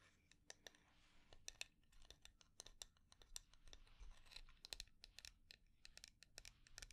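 Long dark nails tap and scratch the sides of a small, round, dark-red lacquered wooden jar with inlaid flower dots, hollow with its lid on and held in the hands. A quiet, irregular run of sharp, bright clicks sits over a soft, dry scratching hiss and low rumble. Each tap stops dead with no ring.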